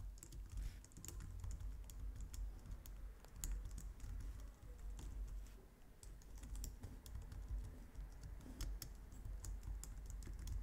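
Long nails type steadily on a white low-profile plastic computer keyboard, producing a continuous run of quick, bright clicks and taps. Each click is short and dry and sits over a constant low hum.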